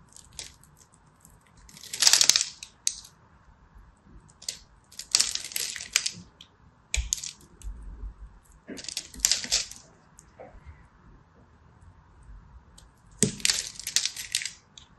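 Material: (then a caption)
Soap. A hand-held purple and white striped solid soap bar has its dry surface scratched and chipped with a small blade, and crumbs fall. Bright, crisp scraping and crackling come in separate bursts near 2, 5–6, 9–9.5 and 13–14 seconds, with quieter ticks and quiet gaps between them.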